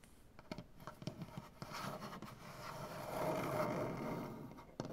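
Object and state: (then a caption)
Wooden butcher block table. Long dark-painted nails tap and scratch across a solid light wood butcher block tabletop. Sharp, dry taps open the clip, then a steady rasping scratch builds and fades. One more crisp tap lands at the end.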